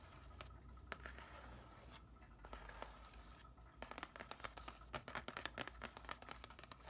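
Fingernails scratch and tap the surface of a flat, thin grey printed cardboard backing card from a plant label package lying over a soil tray. Soft, dry scratching in the first half gives way to a quicker run of sharp, bright clicking taps over a steady low hum.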